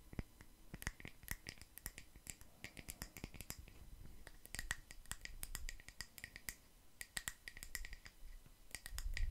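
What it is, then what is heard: Wooden log slice coaster. A round solid wood log slice coaster, with visible growth rings and a bark rim, is held in one hand and tapped and scratched with long nails covered in paperclips. Quick, sharp, dry clicks and ticks come in irregular bursts, each with a bright metallic edge and almost no ring, over a soft low rumble and faint scratching between taps.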